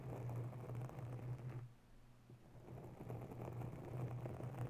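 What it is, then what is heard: Foam microphone windscreen being scratched. Long natural nails slowly scratch a grey foam microphone cover, giving a soft, dense scratching rustle over a steady low hum. The scratching fades to near silence about midway, then builds back to its earlier level.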